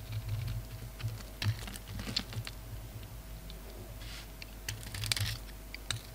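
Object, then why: Bar of soap. A palm-sized oval bar of solid soap with a glossy dark red shell over a grey-black core is held in the hand while its face is scraped with a utility knife blade. Quick, crisp scratches and ticks, bright and high, break up a steady low rumble, with a few sharper bursts along the way.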